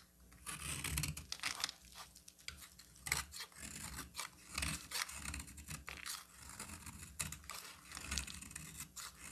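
A solid green bar of soap is scraped and cut with a metal utility knife blade, peeling off fine shavings. Close, dry scraping and crisp crunching strokes repeat in uneven bursts, bright and hissy with a soft low thump under each pass.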